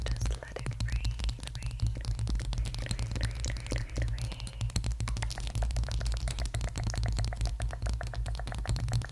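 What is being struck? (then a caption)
Bamboo candle jar lid. Long acrylic nails rapidly tap and scratch the top of a round, flat, palm-sized bamboo candle lid with an engraved logo and a dark rim, held on top of a furry mic cover. Dense, crisp clicks and brushing scratches run throughout, with a few brief squeaky scrapes early on. A heavy low rumble sits underneath the whole clip.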